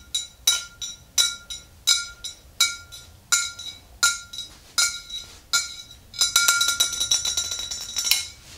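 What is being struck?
Glass swing-top bottle with liquid.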